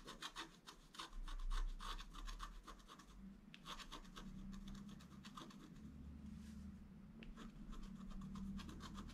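A wooden stylus scratches short strokes into a flat scratch art paper card held by the left hand, working beside the gate. Quick, dry scratching bursts repeat in a loose rhythm with a bright, papery rasp, over a steady low hum.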